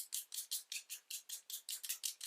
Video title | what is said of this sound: Chalk Ola Review | you can hear kind of like a little marble or something in there, because it's water paint based